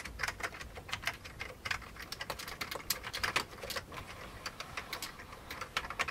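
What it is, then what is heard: Old plastic computer keyboard. Both hands type with their fingertips on an old beige plastic computer keyboard. A steady, uneven run of quick, bright plastic key clicks follows, each tap short and dry with little low end.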